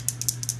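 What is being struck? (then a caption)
Small liquid eyeliner tube with a mixer inside. A black inkwell-style tube of L'Oréal Carbon Black Lineur Intense felt-tip liquid eyeliner is shaken before use. This produces several quick, bright, high-pitched rattling clicks over a low steady hum. The rattle is the liquid ink formula being shaken up and mixed inside.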